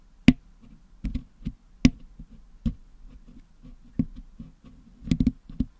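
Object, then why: Metal mesh microphone grille with putty, picked with a wooden toothpick. A wooden toothpick scratches and picks blue, yellow and green putty out of the hollow metal mesh dome grille of a Blue Yeti microphone, cleaning the putty-packed grille. Sharp, dry clicks and taps land at irregular intervals, each with a short, dull low body and a quick bright tick. Between them comes soft, faint scratching.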